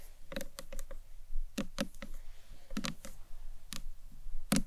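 Long nails tap and knock on the top and upper face of a small, hollow, green marbled acrylic box clutch. The result is a quick series of short, crisp, bright clicks with almost no ring, over a steady low background rumble.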